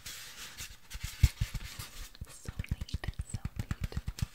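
A medium orange artificial foam craft pumpkin with a green stem, lightweight and solid, is held in both hands and scratched and rubbed close-up with long orange-painted nails. A soft, airy rustling hiss gives way to a quick, steady run of short, dull, low scratching strokes with a faint bright edge. Each stroke stops almost instantly, with no ring.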